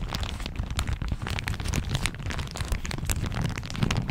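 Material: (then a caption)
Plastic. A thin floral plastic shower cap with an elastic rim is held over the microphone and crumpled and squeezed between the fingertips and nails of both hands. The result is a steady, dense crinkling and crackling with a heavy low rumble beneath quick, bright plastic snaps.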